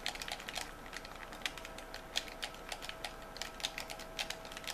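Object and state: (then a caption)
Plastic game controller buttons clicking. Fingertips and thumbs rapidly click the buttons and triggers of a white, hand-sized, hollow hard-plastic game controller held in both hands. The result is a quick, irregular run of short, bright plastic taps and clicks that decay almost instantly, with little low end and a faint steady tone underneath.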